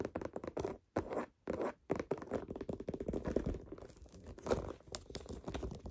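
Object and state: Pebbled leather handbag.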